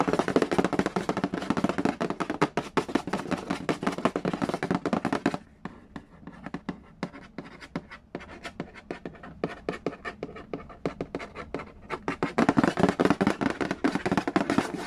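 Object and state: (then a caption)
Cardboard game box. Fingertips tap fast and nails scratch across the printed lid of a hollow cardboard Yahtzee board game box, giving dense, dry, hollow-sounding taps with a scratchy edge. The flurry softens to quieter, sparser tapping midway, then returns to the dense, louder rhythm near the end.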